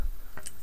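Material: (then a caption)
Brass. The brass shaker weight inside an MSR Dragonfly stove's jet/generator, whose small needle pokes into the jet hole, is shaken so it moves back and forth and slaps inside. About three soft metallic ticks are heard over a low rumble, ending in a brief brighter click. This shows the loose shaker piece is present and free to move, as it should be.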